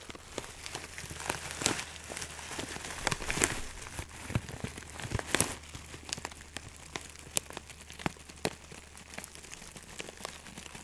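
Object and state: Plastic bag of dried herbs.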